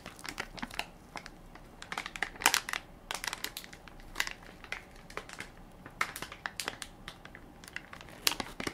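A hand-sized Equate baby wipes soft pack made of crinkly plastic film with a white plastic lid, full of wipes, rests flat in one palm while the other hand's fingertips and short nails press, scratch and crinkle the film. It makes quiet, bright, crisp crinkling and crackling, with short sharp bursts scattered throughout over a soft rustling bed.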